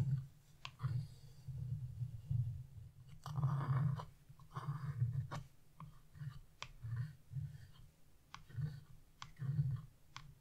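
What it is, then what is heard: Scratch-art paper being scraped. A small metal carving chisel with a wooden handle, held by fingers with blue nails, scrapes the coating off a flat black wax-coated scratch-off coloring page lying on a table. Repeated short scraping strokes come through as soft, low, rumbling bursts, with a few longer, grainier scrapes and quick bright clicks in between.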